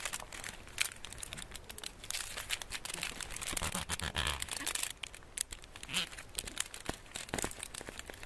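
A solid, flat chocolate bar wrapped in embossed gold foil is held in the hands while fingertips and nails scratch and crinkle the foil. The result is a dense, bright crinkling with rapid, sharp crackles and soft scratching that stops instantly, all at a quiet, close level.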